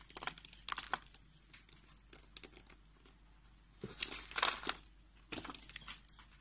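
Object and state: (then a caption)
Bar of soap being carved. A utility knife blade scrapes and carves a solid dark brown rectangular bar of soap held in the hand, lifting small flakes. Quiet, dry, bright crinkling scrapes come in uneven bursts, with a louder cluster of shaving strokes near the end and little low-end weight.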